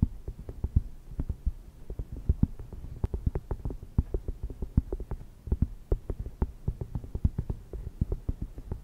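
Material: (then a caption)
Cork. Long red nails tap and scratch the surface of a thin, round, solid cork coaster lying on a fluffy microphone cover. A quick, uneven run of soft, muffled taps comes through deep and dull, each one dying away almost instantly with no ring. Faint scratchy brushing fills the gaps between them.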